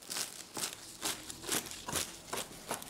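The crust of a cheese-filled phyllo börek, pan-fried on both sides, gives seven soft, evenly spaced crinkling crunches, each bright and quick to fade. The sound shows that the pastry has fried up crisp.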